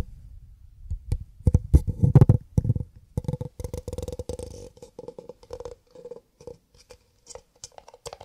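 Cardboard paper cups are tapped with the fingertips in a binaural, ear-to-ear recording with no talking. Quick, irregular, crisp taps have a dull, hollow low body and a short tone near 500 Hz. They are loudest and densest in the first half, then grow softer and sparser toward the end.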